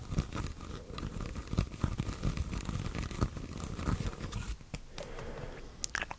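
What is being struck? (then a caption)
Corrugated plastic hose. A long, white, flexible, hollow corrugated plastic hose is held in both hands and bent close to the microphone while fingers rub and scratch along its ridges. The result is a dense, low-heavy stream of crunching, crinkling clicks and scrapes, with a few sharper snaps standing out.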